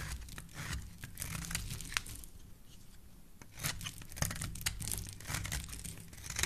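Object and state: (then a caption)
Bar of soap scraped with a blade. A metal blade scrapes along the edge of a solid, hand-sized pink bar of soap held in the hand, shaving off flakes. Dry, crisp scraping and crunchy tearing strokes come in bursts, with a quieter pause midway before the scraping picks up again, over a low, soft rumble.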